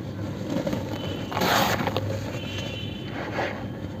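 Bare fingertips scoop, squeeze and crumble lumps of grey dry cement powder in a large plastic tub, letting the dust fall back. Soft, gritty scraping and crackling crunches swell into brighter bursts as the solid, crumbly lumps break apart under the fingers.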